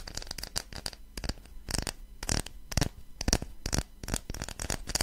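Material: Wood.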